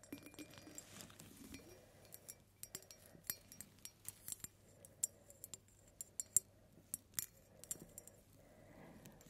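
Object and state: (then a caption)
Glass ornament tapped with fingernails. A hand-sized, faceted, rainbow-iridescent glass pineapple-shaped ornament or jar with a green leafy top, likely hollow, is held in one hand and tapped with long dark-painted nails. About 19 quiet, bright clinking taps come at an uneven pace, each dying away almost instantly. A soft, steady low hum sits underneath throughout.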